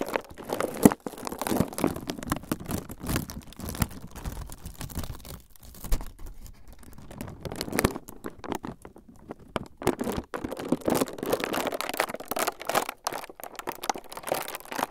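A transparent clear plastic film sheet is held above the recorder and crumpled with both hands. It makes a steady, quiet stream of dense crinkling and crackling, mostly in the low-mid range with brief bright edges. The crinkling eases for short moments before picking back up.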